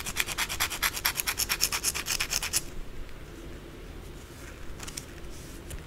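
Long blue acrylic nails scratch quickly across the surface of a white solid soap bar held in the palm, while the bar partly leaves the frame at the end. About twenty rapid, bright, raspy strokes come in a steady rhythm for the first two and a half seconds. They give way to a quiet hiss with a few faint, softer scratches near the end.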